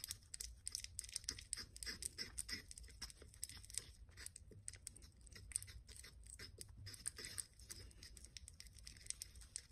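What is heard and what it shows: A porcelain pestle grinds and scrapes around a small white porcelain mortar holding pale paste, with the bowl held by fingertips. Quiet, rapid, irregular scratchy ticks and gritty scraping sound bright and dry with no ring, over a steady low hum.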